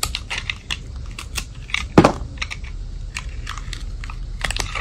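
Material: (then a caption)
Soap. A metal utility blade shaves and scrapes the sides of a solid white soap bar with silver glitter edges held in hand. It makes a run of short, dry, crisp scraping and crunching bursts with bright edges over a low rumble. One sharper, louder crunch stands out midway.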